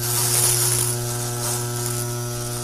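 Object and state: Nothing is struck.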